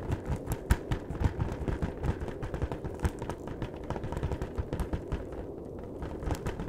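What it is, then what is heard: Cardboard chocolate box. Fingertips tap rapidly on the top and edges of a long, flat cardboard chocolate box held horizontally. The result is a dense, uneven patter of short, dull thumps that are heavy in the lows. Each tap dies out almost instantly, with occasional louder, sharper clicks standing out.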